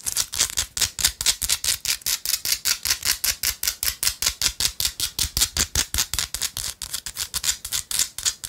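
A small, solid, palm-sized piece of pink Himalayan rock salt, held between the fingers, is tapped and scratched with long light-blue acrylic nails. About 42 quick, dry, bright scraping strokes follow one another in a fast, slightly uneven rhythm. Each is a short gritty burst that stops almost at once, with very little low end.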